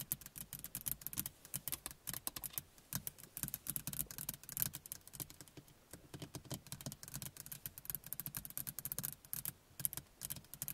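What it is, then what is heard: Plastic rearview mirror tapped. A small, hollow car rearview mirror with a plastic housing and glass face is tapped rapidly with the fingernails of both hands. The result is a quiet, steady stream of sharp, bright clicks over a faint hollow thump, each dying out almost instantly.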